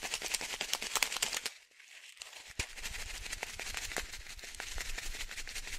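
A small blue and white plastic sachet, partly filled with small fish food pellets, is shaken in one hand. Bright, crinkly plastic rustling mixes with rapid, irregular rattling of the pellets. A brief near-quiet pause comes just after a second in, then a sharp tick as the shaking resumes.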